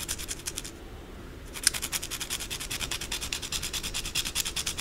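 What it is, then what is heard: Bar of soap being scratched. Long blue acrylic nails scratch quickly across the surface of a solid white bar of soap held in the palm, making a run of rapid, bright, dry rasping strokes. The scratching briefly quiets to a soft hiss, then resumes with a sharp scrape and continues in fast, uneven strokes to the end.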